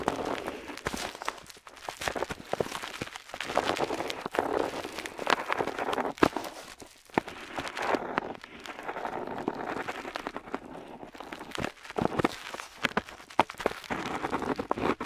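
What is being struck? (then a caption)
Paper map sheet under a metal pen nib. The metal nib of an ornate metal dip pen, held in the fingers, scratches across a flat printed paper map sheet lying on a table while drawing ink lines. A steady run of short, dry scratches and scrapes sits mostly in the midrange, with thin low end and occasional brighter strokes. The nib scrapes on and off throughout.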